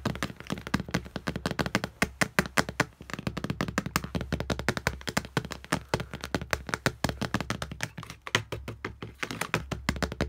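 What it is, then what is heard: Glass wall mirror. Fingertips and nails of both hands tap quickly on a flat glass wall mirror, producing a dense, continuous stream of short, sharp taps and clicks. Each tap dies away almost instantly, with bright clicky edges over a steady low hum underneath.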